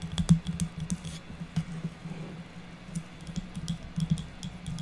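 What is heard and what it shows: A small, solid stack of round birch wood slices with bark edges, tied with jute twine, is tapped and scratched with long natural nails, first briefly held in hand and then resting on a table. The result is a quick run of soft, dull, low knocks and light scratches with very little ring.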